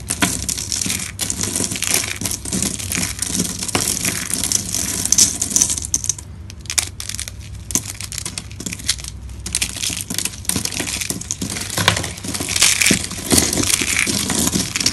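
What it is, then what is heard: Dry soap sheets being crushed. Hands grab, bend and crush a stack of thin, dry, brittle green soap sheets and fistfuls of their fragments with the fingertips on a marble surface. Dense, bright crunching and crinkling runs continuously for the whole clip, easing briefly in the middle before picking up again.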